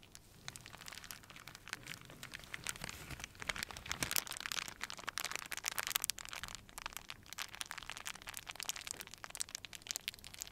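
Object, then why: Crumpled plastic film. A small crumpled wad of clear plastic wrap is rubbed and crinkled between fingers and palms. It makes a steady stream of dense, bright crackles and crisp snaps with almost no low end, swelling briefly louder near the middle before settling into an even, quiet crinkle.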